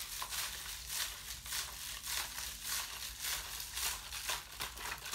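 A thin, ribbed, clear plastic water bottle, hollow and apparently empty and glowing blue under UV light, is held in one hand and squeezed and crinkled with the fingers. Bright, crackly crinkling comes in loose, uneven bursts about every half second, with little low end. Each surge fades quickly into a steady soft hiss.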